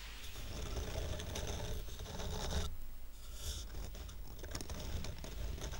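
Fingernails rub and scratch across the surface and edge of a stack of square painted wooden coasters tied with twine. The result is a continuous, low, dry scraping with bursts of bright scratchy detail, easing briefly around the midpoint before the rubbing resumes.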